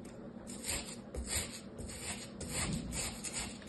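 A small orange plastic toy shovel scrapes and scoops a pile of beige kinetic sand in a light green plastic tray, held by fingers with painted nails. Repeated crunchy, crumbling scrapes come in short bright bursts over a soft low rumble.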